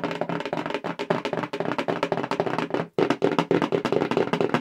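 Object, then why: Cardboard mailer box. A hollow black cardboard subscription mailer box, held in front of the face, is rapidly tapped with long acrylic nails. About 28 quick, dry, hollow taps ring in the low mids with a woody, block-like tone, each dying away almost at once. The taps break off in a brief gap just before the three-second mark, then resume.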